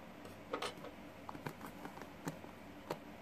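A green plastic paddle hairbrush with pin bristles is held in one hand while fingertips and nails scratch and flick across the bristles. About eight short, dry, ticking clicks with a bright edge stand out over a faint steady hiss, each dying away almost at once.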